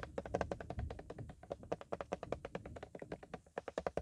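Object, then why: Plastic bottle of car polish. A full-looking black plastic car polish bottle, about 25 cm tall with a colorful label, is held in one hand and tapped with nitrile-gloved fingertips. The result is a rapid, continuous run of short, dull plastic taps with a hollow mid-range tone and no ring after each hit.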